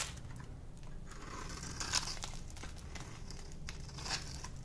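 A solid rectangular bar of dry pink soap, held in one hand, is scraped and shaved with a small metal blade held in the other, producing crunchy flakes. Irregular dry crunching and crinkly scraping strokes are heard, with bright, high-pitched crackle over a steady low rumble and a few louder crunches.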